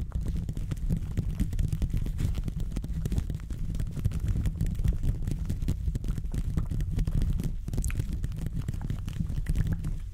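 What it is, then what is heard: Metal microphone grille being scratched. Textured gloved fingers continuously scratch and rub the hollow metal mesh grille of a silver condenser microphone. The result is a dense, steady, deep rumbling scrape full of tiny crackles, with nearly all the sound in the low range and only faint brighter flicks.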